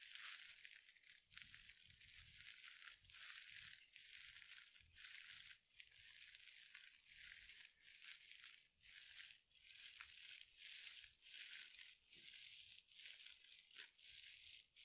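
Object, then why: Synthetic mesh scrub sponge. A hand-sized soft glitter mesh scrub sponge with a sparkly synthetic mesh cover is crushed and scratched with long nails close to a microphone. It makes a steady run of bright, hissy crinkling and crunching bursts, with almost no low end and brief pauses between squeezes.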